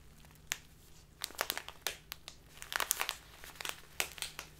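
A full plastic bag of loose tea with a green label is pressed and crumpled by fingertips and long nails. It makes a run of sharp, bright crinkling crackles over a faint low hum. Quiet gaps separate the bursts, which cluster more densely toward the end.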